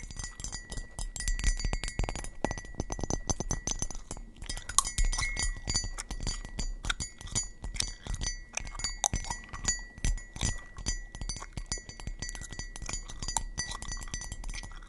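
A small brown glazed ceramic mug with an embossed face design, hollow and empty, is held in both hands and tapped and scratched around its outer wall with long acrylic nails. Rapid, dense clinking taps and brief scratches continue throughout, with faint gum chewing possibly in the background.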